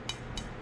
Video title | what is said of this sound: 가성비 10단! 매디슨 델타10 se (MADISON DELTA10 se) | 가운데 부분을 좀 더 가볍게 깎아낸 형태라고 보시면 되겠습니다